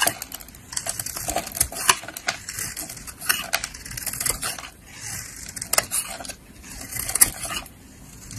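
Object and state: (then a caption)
Bar of soap being shaved. A utility-knife blade shaves and scrapes curling flakes from a palm-sized solid yellow soap bar decorated with colored sprinkles, held in a hand with long painted nails. Dry, crisp scraping and crackling comes in bursts of rapid bright clicks and ticks, with almost no low end. Short louder snaps stand out between softer stretches of grainy shaving.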